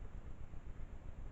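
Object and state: Nothing is struck.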